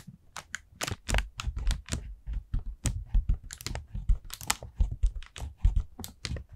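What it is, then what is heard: Paper lantern. Long nails tap and scratch the thin paper of an expanded, round orange paper jack-o-lantern with wire ribs, hollow and empty. The result is a quick run of soft, dull, papery taps with a low thump, each followed by brief bright crinkly scratching, with almost no ring after each hit.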